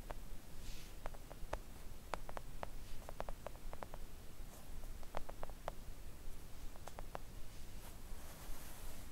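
Long acrylic nails on both hands gently tap a flat, thin, solid pink silicone nail art mat resting on a table. The taps are short, dry, muted clicks scattered irregularly over a steady low background hum, with faint soft hissy rustles between them.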